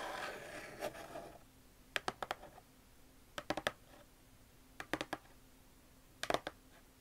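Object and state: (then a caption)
Cardboard shoe box tapped with nails. Long nails scratch across the top lid of a closed, hollow red and brown Vans cardboard shoe box standing upright, making a rough, bright scraping for the first second or so. Then the nails tap the lid in four quick clusters of sharp, dry clicks. The clicks die away almost instantly over a faint steady hum.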